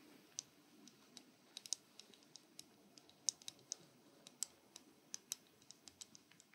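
A metal object is tapped in an irregular series of quiet, sharp, bright clicks with almost no ring, just before a shave begins in a barber shop setting.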